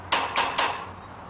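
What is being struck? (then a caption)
Metal fence. A metal fence is tapped at its far end while heard with an ear pressed against it. Three distinct bright, ringing metallic taps with short decays come through the metal. This shows that sound travels through the metal faster than through air.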